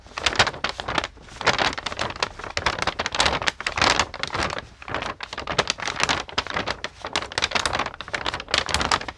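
A single large sheet of thin white paper with pink paint blotches is held in both hands with long nails and is bent, crinkled and shaken. Dense, bright crackling and rustling comes in repeated bursts separated by brief quieter gaps, with little low end.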